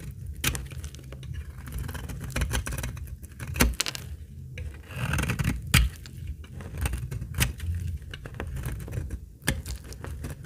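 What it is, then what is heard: Dry laundry soap bar. A utility blade cuts flaky curls from the corner of a solid, dry, translucent amber laundry soap bar. The result is a series of dry, crackly scraping cuts, with sharp bright clicks standing out over a low, heavy rumble.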